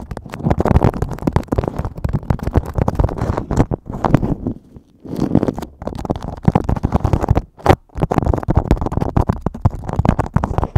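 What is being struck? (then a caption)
Beeswax-coated cotton wrap. Fingertips and nails crinkle and scratch a thin yellow beeswax-coated cotton food wrap sheet draped hollow and empty over a microphone. The result is a dense, continuous run of crackling, rustling scratches with a heavy low, muffled body. The scratching pauses briefly near the middle and again shortly after before resuming.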